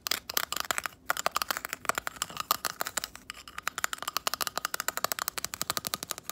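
Long acrylic nails tap and scratch a palm-sized natural abalone shell held in both hands, working over its iridescent nacre interior and rough outer side. About 45 quick, bright clicks sound in a fast, uneven run with brief scratchy passes. Each hit is dry and dies almost at once, with a thin, high tone and hardly any low end.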